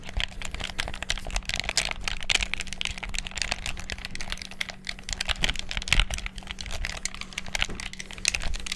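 Thumbs and fingertips rapidly press the buttons of a black hollow plastic gamepad, making a dense, continuous stream of sharp, bright plastic clicks and taps. The clicks stop short with almost no ring, over a faint steady low hum.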